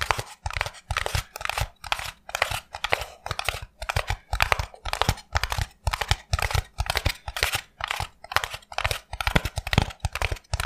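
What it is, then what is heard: Polystyrene foam block. A small rectangular white foam block, apparently expanded polystyrene packaging, is held in both hands while fingertips and nails tap and scratch along its surface. The result is a steady, rhythmic run of short, dry crackling and crunching bursts with a bright, gritty hiss over soft low thumps, each burst separated by brief near-silence.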